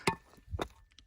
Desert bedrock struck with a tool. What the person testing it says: that soft stuff is what will just split apart easy